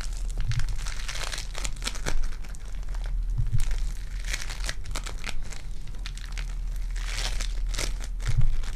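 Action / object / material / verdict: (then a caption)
scrape / foam bead clay / foam beads / none. Purple foam-bead clay is flattened on the fingers and stretched between both hands with long dark nails, giving a steady stream of crinkly, crackling pops over a low rumble. Louder bursts of bright crunching come and go throughout.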